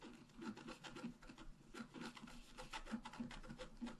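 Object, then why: Coated scratch-art paper card and wooden stylus. A wooden stylus scratches the upper tree design into a flat black-coated scratch-art paper card. Quiet, dry rasping strokes repeat in quick, uneven bursts, each with a soft low body and a faint bright hiss, stopping dead with no ring.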